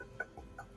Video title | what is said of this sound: LADIES NIGHT ft THE BRICK SISTAS | this sounds hollow but right here there's a crack in it